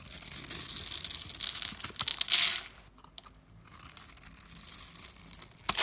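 A blade scrapes pre-scored cubes off a solid orange bar of soap held in the fingers, making a bright, crisp scraping and crumbling sound as the small cubes break away. The scraping swells, drops to near silence for a moment, then resumes and ends on a sharp crack.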